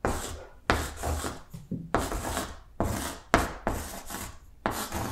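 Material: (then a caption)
Chalk. Chalk held in the fingertips writes lowercase letters on a large, flat green blackboard. Seven separate scratchy, rasping strokes each start sharply and trail off, with broadband grit reaching up into bright highs.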